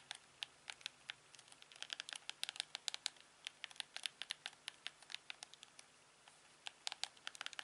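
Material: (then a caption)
Plastic. A thumb and fingertips repeatedly press the buttons of a hand-sized, hollow, black plastic LG TV remote control. Dozens of quiet, bright, dry clicks and taps come in irregular bursts, each dying out almost instantly, with a short pause near the end before a final cluster.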